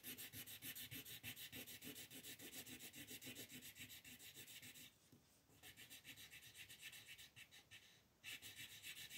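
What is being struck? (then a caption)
Colored pencil on a paper coloring page. A yellow-orange colored pencil shades a paper coloring sheet on a table, scratching back and forth in quick, steady strokes of about three to four per second. It makes a bright, dry scratching hiss, with the strokes softening briefly around the five- and eight-second marks before resuming.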